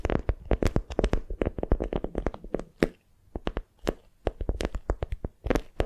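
A palm-sized bundle of patterned beeswax-coated cotton wrap, folded around a small soft squishy block, is squeezed and gripped with long nails and fingertips. It gives a quick run of short, dry crinkles and waxy crackles, dense at first, then thinning after a brief lull midway before picking up again.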